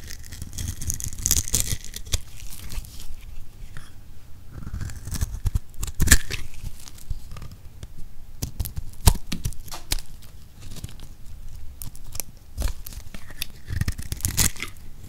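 A utility knife blade scrapes and slices small cubes and shavings from the scored face of a solid rectangular green soap bar held in hand. Dense, dry crunching and crackling sounds with a scraping, tearing texture come in quick uneven bursts and a few sharper snaps. The sound is mostly low and thumpy with a bright crisp edge on each cut.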